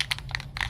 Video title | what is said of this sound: Drilling a hole in my van | So you hear that ball rattling around? You gotta shake it until that ball rattles really easily.